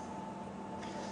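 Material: Nothing is struck.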